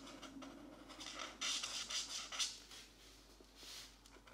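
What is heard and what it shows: A felt-tip marker held in the right hand is rubbed back and forth in short strokes over the page of an open paperback mandala coloring book lying flat on a desk mat, while the left hand holds the book still. Bright, airy scratching swells and fades in an uneven rhythm, with the loudest strokes near the middle before a softer final pass.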